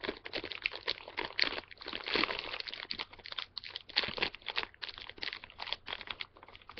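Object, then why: Plastic-foil candy bag. A small, full, flexible plastic-foil M&M's candy bag is held in both hands while fingertips crinkle and pull at its top to open it. Dense, bright crinkling and crackling comes in rapid overlapping bursts with almost no low end. Each crackle stops short with no ring.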